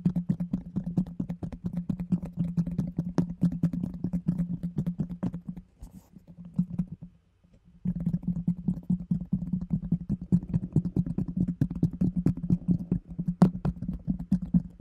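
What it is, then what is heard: Plastic food container. Long nails rapidly tap and scratch the bottom of a round, hollow orange plastic food container with a yellow lid held close to the microphone. The dense, quick clicks have a low, hollow resonance and a dull thump. The tapping fades briefly to near silence around the middle, then resumes just as busily to the end.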